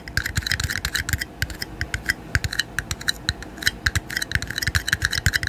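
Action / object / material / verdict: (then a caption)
tap / disposable plastic cups / plastic / none. Two small, empty, thin-walled red disposable plastic party cups, one held in each hand in front of a microphone, are tapped together at the rims and sides and tapped with the fingertips. The result is a rapid, irregular run of short, dry, hollow clicks with a bright plasticky tone around 1.6 kHz and a soft low thump under each tap. Each tap dies away almost instantly.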